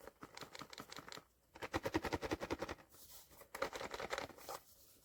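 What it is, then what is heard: Shaken blind box with a figure inside. A sealed Skullpanda cardboard blind box holding The Trust vinyl figure is shaken to guess its contents. Bursts of rapid rattling knocks come in three rounds with short pauses between them. The box turns out to hold The Trust.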